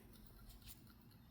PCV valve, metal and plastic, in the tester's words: if we shake it you don't really hear it moving